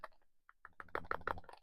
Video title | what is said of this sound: Fun Mint tin #EDC load out! | there's a little bit of rattling around in there, but it's not terrible